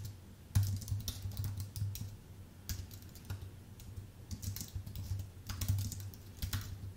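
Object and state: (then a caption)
Aluminium and plastic keyboard being typed on. Both hands type with their fingertips on a full-size white Apple Magic Keyboard with an aluminium base and plastic keys. Quick, light clicks come in uneven bursts with bright, crisp tops. A steady low hum sits beneath them throughout.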